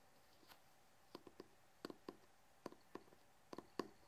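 Short fingernails and fingertips tap and scratch the cover and edge of a large, solid hardcover book with a red cloth/cardboard cover and gold lettering. Quiet, dry, clicky taps come in uneven little clusters, each dying away almost at once, with a mid-low knock under a faint bright tick.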